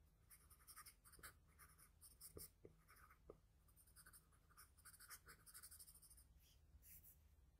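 The tip of a wooden graphite pencil, held in the fingers, makes short, repeated scratching strokes on a flat sheet of drawing paper on a table while shading the nose area of a drawing. The quiet, dry bursts of bright scratching stop and start in quick succession, with a few sharper ticks, over a steady low hum.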